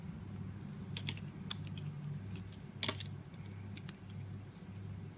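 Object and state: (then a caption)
Glycerin soap bar being scraped. A utility knife blade scrapes and shaves the surface of a solid oval translucent green glycerin soap bar held in the palm. Crisp, bright, short scraping ticks come in irregular bursts over a steady low hum.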